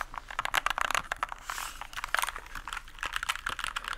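A small white compact plastic mechanical keyboard with a hollow plastic case is held tilted upright while fingertips tap and press its keycaps. The result is a rapid series of short, sharp, bright clicks. A brief softer, noisy rustle is heard around the middle.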